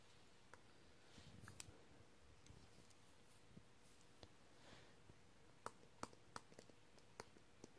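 A hand with a black stylus pen taps the toolbar and writes "Hopefully" on the flat glass touchscreen of a tablet or laptop. About eleven quiet, sharp, dry clicks, with bright ticks and no ring, are interspersed with soft scratching strokes on the glass, over a faint steady hum near 500 Hz.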